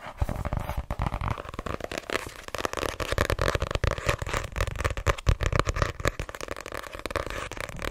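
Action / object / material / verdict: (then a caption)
tap / paperback book with card cover / paper, card / none. Long nails rapidly tap and scratch the card cover of a small, solid white paperback, *My Name Is Lucy Barton*, while it is gripped. The result is a dense stream of quick, dry taps with a low, thumpy body and short, crackly scratches that die away almost at once.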